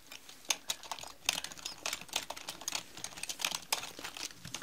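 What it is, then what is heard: Plastic mechanical keyboard being typed on. Long nails type on a black mechanical keyboard with plastic keycaps, and one hand lifts while the other keeps typing. The result is a quick run of sharp, bright plastic clicks with almost no low end and very short decay, with some strokes louder than others.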